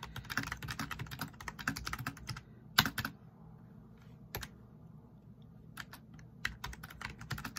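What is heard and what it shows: Fingertips tap the keys of a black plastic backlit RGB membrane keyboard at a slower pace. A run of short, bright plastic clicks gives way to a few isolated taps with quiet gaps, then picks up again toward the end over a faint low background rumble.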